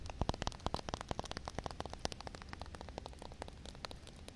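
Long red nails tap and scratch on flat wet concrete ground with a puddle. Rapid, irregular clicks and short wet scrapes sound continuously over a low, steady hiss.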